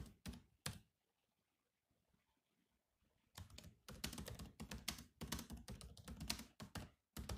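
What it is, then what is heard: Laptop keyboard with plastic keys. Fingertips tap on the black plastic keys of a silver laptop keyboard. Three quick keystrokes sound first, then a near-silent pause, then a dense run of continuous typing to the end. Each tap is a short, dry click with a low thunk and a bright edge, with almost no ring.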